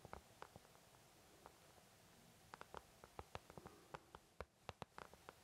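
An empty white plastic paint palette, thin and hollow-backed, is tapped with the fingertips of both hands in about 16 quiet, scattered taps that cluster faster toward the end. Each tap is a short, dry, hollow tick with a soft low thud and almost no ring, over a faint steady hiss.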